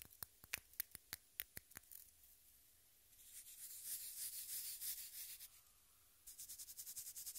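Long manicured nails tap, rub and scratch the dry, powdery surface of an unwrapped, solid, fist-sized pink pressed-powder bath bomb held in a hand close to the mic. About nine sharp, bright clicks come first, then a softer gritty rubbing swell, and finally a quick run of crisp, high scratches. The whole clip is quiet and close, with almost no low end.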